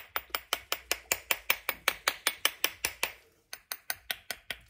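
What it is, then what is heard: Bath bomb still stuck in plastic mold. Quick, bright, regular taps on a plastic bath bomb mold to loosen a dragon egg bath bomb: about 22 sharp clicks with a short pause near the end. The halves are still firmly stuck in the mold.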